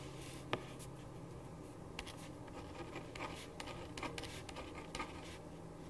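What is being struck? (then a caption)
Paper sheet and ballpoint pen on a wooden desk. A ballpoint pen writes on a thin printed paper sheet lying flat on a wooden desk, making quiet, dry scratching strokes with brief bright ticks. A steady low hum sits underneath throughout, and one sharper tap stands out near the start.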